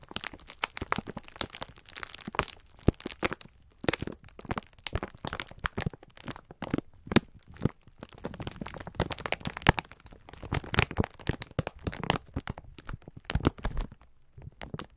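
A clear plastic-film pack of sponge scourers is held in both hands while the fingertips squeeze and rub it. The plastic gives off dense, irregular crinkling with sharp crackles and crunches in uneven bursts, separated by brief quiet gaps.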